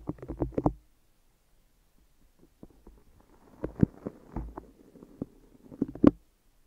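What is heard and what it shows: Fingers tap and peel on the sticky tops of tape-wrapped microphone ears. A quick cluster of soft, close, muffled taps is followed by a short silence, then scattered taps mixed with faint crackling from the tape peeling away. The sound stays low and dull, ending with a final flurry of taps.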